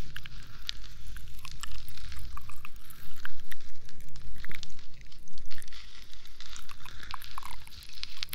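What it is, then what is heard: Plastic moon lamp scratched. A hand-sized, textured, hollow plastic moon lamp glowing in changing colours is held against the microphone and scratched with long nails. The result is a dense run of quick, crackly scratches and bright ticking clicks over a steady low rumble, swelling and fading in uneven waves.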